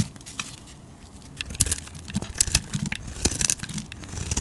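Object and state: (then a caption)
Bar soap being shaved. A flat metal blade scrapes and shaves the surface of a solid, palm-sized purple bar of soap with a red layer, held in one hand with long nails, throwing off curls and flakes. The result is a series of dry, crisp, crinkling rasps with bright, papery highs and soft low thuds, growing denser and louder in the second half.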